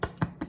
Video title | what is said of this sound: Easy crusty bread with Vani | They maybe could stay in there just a skosh longer, but you're listening for that hollow sound